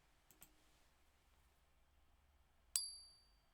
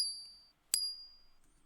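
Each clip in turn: First: genuine gold bullion coin. Second: fake gold-plated coin.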